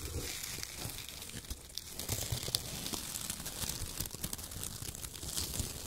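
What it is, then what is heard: Shredded kraft paper being crumpled. Fingers crumple and squeeze handfuls of shredded brown kraft paper strips and press them into the pile. The result is a strong, continuous crinkling and rustling with bright, crackly high tones and a low rumble underneath.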